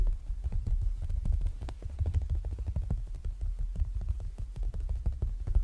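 Fingertips and short nails tap and pat the flat clear plastic (PVC) front cover of an A6 ring planner binder in a zippered case, with red zipper trim and a printed paper insert beneath the cover, lying flat on a bedsheet. The result is a rapid, steady run of soft, dull low thumps with faint brief clicks, each dying away almost at once.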